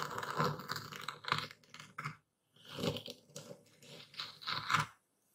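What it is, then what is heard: Epsom salt crystals being crushed. A dark speckled stone pestle presses and grinds into coarse white epsom salt crystals in a wooden bowl held steady by a hand. Gritty, crackling crunches come in two rough bursts separated by a brief silence. The crystals are crushed, and the sound ends in quiet.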